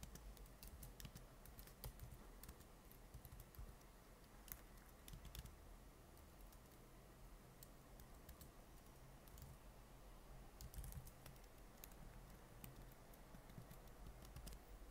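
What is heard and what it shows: Both hands type steadily with their fingertips on the plastic keys of a silver laptop keyboard. The result is a quiet, continuous stream of short, soft clicks over a low background hum.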